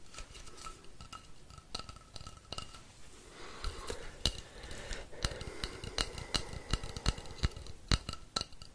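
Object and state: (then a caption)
Painted wooden rainstick. Fingertips and nails tap and scratch the painted surface of a long, hollow, painted wooden rainstick held upright. Quiet, irregular, sharp clicking taps ring only briefly over a soft scratching rustle. About three seconds in, the scratching grows denser and the taps come louder and more frequent.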